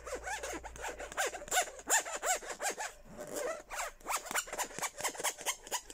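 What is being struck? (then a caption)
Plastic cup. A hollow, empty pink plastic Hello Kitty tumbler is held in the hand and tapped with fingertips and nails. Quick, irregular taps and scratchy rubbing strokes produce bright, short clicks with squeaky, pitch-sliding chirps that die away almost at once.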